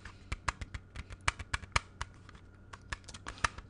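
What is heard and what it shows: Fingertips tap the front face of a closed, hollow, hand-sized plastic CD jewel case held in both hands. About seventeen short, dry clicks come at an irregular pace over a faint low hum. Each tap has a hollow plastic tone near 1.2 kHz with a bright edge and dies away almost at once.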